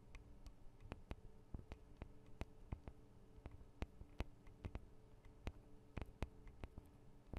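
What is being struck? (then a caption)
Small metal microphone capsules on a handheld recorder. Long acrylic nails tap on the tops of the small metal microphone capsules of a Tascam DR-40 recorder. A quiet, irregular string of short, dry clicks stops almost instantly over a low, steady hum.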